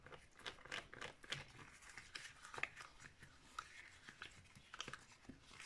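Long nails scratch and tap the surface of a cream-coloured hollow plastic Wii steering wheel held in the hands. Quick, bright clicks and dry scratching strokes come in an uneven stream, with no ringing after each hit.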